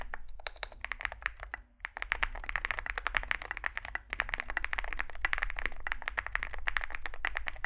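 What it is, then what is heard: Mechanical keyboard with plastic keycaps. Two hands type with their fingertips on a Zoom65 65% mechanical keyboard with a solid metal case and grey and white SA-profile plastic keycaps, resting on a desk mat. The key presses come as a rapid, steady stream of short, sharp clacks with a bright midrange snap, pausing briefly just before the two-second mark. A constant low hum sits underneath throughout.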